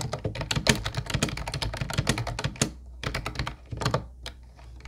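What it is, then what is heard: Plastic keyboard typing. Fingertips of both hands type on a mint-blue plastic Ubotie retro keyboard with round white keycaps. They produce a fast, uneven stream of short, crisp clacks with bright tops and a hollow low thump. Brief pauses reveal a faint steady low hum underneath.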